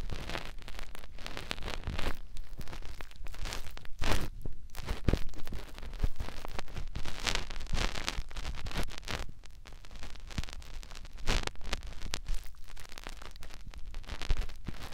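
Fingertips rub and scratch the canal opening of a white, soft silicone ear on a white binaural microphone body. The result is a close, continuous stream of crackly scratching and rustling with soft low thumps, rising and falling in intensity throughout.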